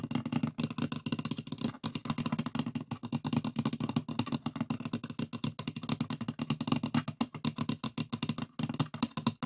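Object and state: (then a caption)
Wooden box tapped and scratched. Fingertips and nails tap and scratch across the lid of a closed, hollow, light pine wooden box with a metal latch. The result is a quick, steady patter of soft, dry knocks with a warm, hollow low body, under a faint scratchy rustle. Each tap dies away almost at once, and the flurry runs on with only brief pauses.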